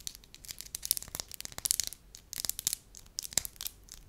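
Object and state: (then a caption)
Soft wax slab. A palm-sized, solid, beige slab of soft wax is pressed, crinkled and scratched with long lilac nails and fingertips. Quick, bright crackling and scratchy clicks come in dense clusters, with almost no low end and no ring after each touch.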